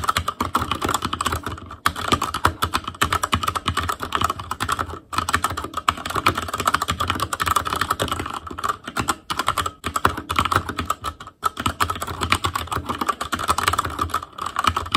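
Fingertips of both hands type continuously on an ASUS ROG Claymore Core mechanical keyboard with Cherry MX Red switches, black plastic keycaps on a metal frame, and a hollow, RGB-backlit housing. The result is a dense, steady stream of quick, short plastic clacks carrying a faint tone near 1 kHz. Brief pauses fall around 2, 5 and 11 seconds.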